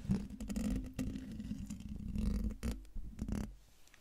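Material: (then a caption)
Metal mesh. Fingertips with dark nails scratch the hollow, domed metal mesh grille of a silver microphone. The result is a close, low-heavy scraping and rumbling texture over a steady low tone, broken by a few brief brighter bursts of rasp before it fades quieter near the end.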